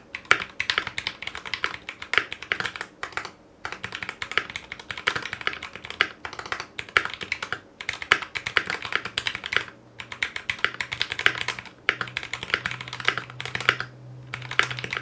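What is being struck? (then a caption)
Mechanical keyboard with ABS plastic keycaps. A foam-lined 60% Clueboard mechanical keyboard in a metal case, with Zealios V2 62g switches, GMK ABS plastic keycaps and a coiled cable, is typed on with the fingertips of both hands. Rapid, bright, crisp key clacks come in steady bursts with short pauses between them, each strike short and dry over a faint low hum.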